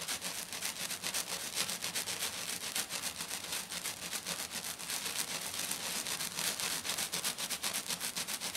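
Both hands with medium black-painted nails scratch and tap fast across the gritty surface of a flat silver glitter-covered sheet lying on a table. The result is a continuous, bright, sandy rasp that pulses in rapid, somewhat uneven strokes of about four per second, with very little low end.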